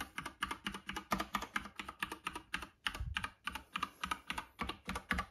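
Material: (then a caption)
Plastic. Fingertips type rapidly on the keycaps of a plastic Epomaker "bloodshot" classic mechanical keyboard resting on a red box. The result is a steady stream of sharp, bright clacks with short, dry decays, broken by a brief pause about halfway through before the typing resumes.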